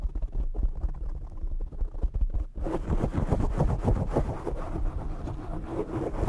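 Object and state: Foam microphone windscreen being scratched and tapped.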